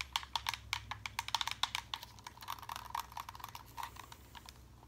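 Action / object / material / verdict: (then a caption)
tap / plastic game controller / plastic / none. Fingertips tap and click the buttons and sticks of a white and grey Xbox-style plastic game controller with a hollow handheld shell, held close. The result is a rapid, uneven run of short, dry, bright clicks centered around 900 Hz that stop instantly without ringing. They are spaced apart at first, then come in denser flurries over a faint low hum.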